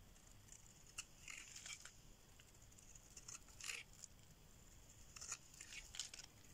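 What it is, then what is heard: Dry bar soap being shaved. A solid pink rectangular bar of dry soap, held in the hand, is shaved with a metal blade as flakes break off. Quiet, bright scraping and crisp crackling bursts, centered around 3 kHz, come and go over a faint steady hiss. The brief strokes ring out almost instantly.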